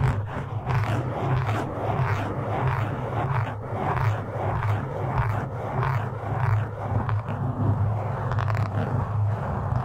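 A black foam windscreen, soft and porous over a hollow metal grille on a microphone, is scratched and gripped with the fingertips and short nails of both hands. The result is a steady, dense, muffled scratching and rustling with a deep, boomy low rumble underneath. It swells and eases in uneven waves throughout and carries almost no bright high end.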